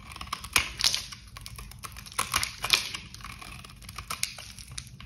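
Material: Soap.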